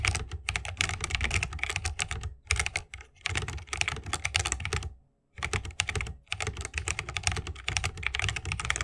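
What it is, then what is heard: Mechanical keyboard typing. Fingertips of both hands type continuously on a 60% mechanical keyboard with plastic keycaps and Holy Panda tactile switches in a bamboo wooden case. The rapid keystrokes combine a deep, thocky low end with bright, crisp clacks, with brief pauses near 2.3, 2.9 and 5.1 seconds.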